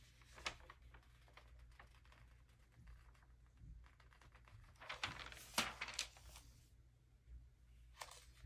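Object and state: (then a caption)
Glossy paper magazine pages being turned. A hand flips the thin pages of an open early-2000s glossy paper magazine, then rubs the newly opened spread flat with its fingertips. Soft, bright paper rustles and crinkles swell into louder crisp swishes near the middle, over a faint, steady low hum.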